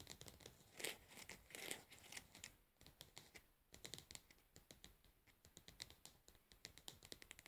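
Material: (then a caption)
Plastic. Long nails scratch and tap the lid and labeled side of a plastic cosmetic pad jar resting on a bed. The result is a quiet, irregular stream of crisp, bright clicks and scratchy rustles with a few louder crinkly swipes. Each tap dies away almost instantly.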